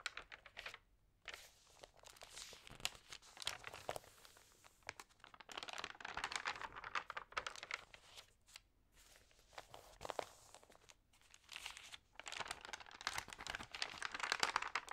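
Fingernails rub the crinkly pages of a thin paper magazine while a hand flips them. Dense, bright crinkling and rustling come in quick bursts, separated by brief quiet pauses.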